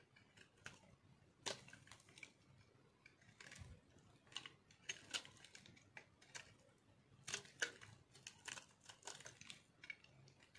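A metal knife carves and scrapes crunchy shavings off a solid white chunk of dry soap held in one hand. The result is a quiet, irregular run of crisp, bright scratches and sharp crunches that stop almost instantly, with little low end.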